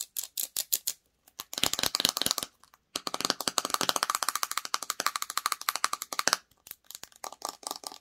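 Long acrylic nails tap and scratch the sides and clear screw lid of a small clear plastic jar filled with red "Honey Peach" slime, held in the hands. Bursts of rapid, bright, clicky taps with almost no low end run together into dense scratching passages, separated by short pauses. Each tap is dry and dies almost instantly.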